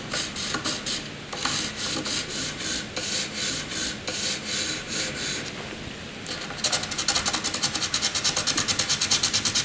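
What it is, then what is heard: Pencil scratching on drawing paper. A graphite pencil tip scratches across a flat white drawing paper sheet, first in hatching strokes and then in a tight zigzag scribble line. Bright, dry rasping strokes come in an uneven rhythm, then turn into a faster, denser run of quick scratchy back-and-forth strokes near the end.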